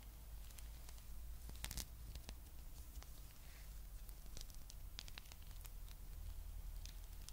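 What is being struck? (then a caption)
Rubber spiky massage ball. Fingertips and long nails scratch and rub the soft spikes of a small, palm-sized blue rubber massage ball held in both hands. The scratching comes through as quiet, scattered bright ticks and crackles over a steady low hum throughout.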